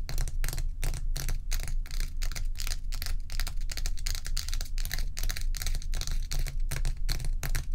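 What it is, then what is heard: Block of ice. Long acrylic nails on both hands tap and scratch rapidly across a large, solid, bowl-shaped block of ice with a frosty top, while loose ice cubes sit untouched at its edge. A quick, uneven stream of sharp, bright clicks and scrapes rides over a steady low hum.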